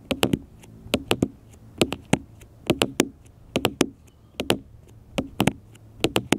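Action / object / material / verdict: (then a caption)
tap / smartphone, glass screen and plastic case / glass, plastic / none. Fingertips and nails tap repeatedly on a small black smartphone with a glass screen and plastic case, lying flat on a metal mesh picnic table. The taps come in quick groups of two or three, each a short, dry click with a bright edge over a low knocking body, and they die away almost instantly against a quiet background.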